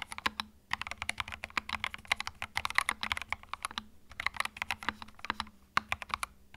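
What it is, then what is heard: Plastic mechanical keyboard. Fingertips type on a small white 65% mechanical keyboard with plastic keycaps and a hollow plastic case, resting on a felt mat. Quick, bright, clacky keystrokes come in rapid bursts, each one short and dry with almost no ring. The typing pauses briefly near the start and again around the four-second mark.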